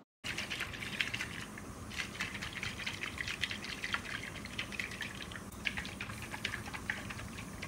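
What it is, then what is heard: Coconut full of water, healthy flesh. A brown, husked mature coconut is shaken vigorously to test the water inside for spoilage. Continuous sloshing and splashing of liquid is heard, giving a full-bodied water sound that indicates healthy, unspoiled flesh.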